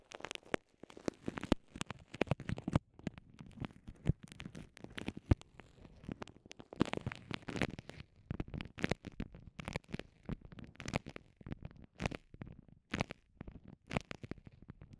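Fingertips and long nails squeeze and rub a small, transparent, soft clear vinyl pouch with microphones inside. The result is a quiet, dense stream of short crinkling, crackling and tapping sounds with a muffled, bass-heavy body and only a little high-end sparkle.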